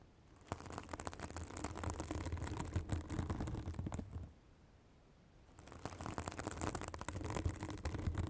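Long acrylic nails scratch a white, fibrous synthetic bath sponge held above a microphone, making a dense, crackly rustle with a deep low rumble and a bright hiss on top. The scratching runs from about half a second to four seconds, goes quiet for about a second and a half, then starts again and continues to the end.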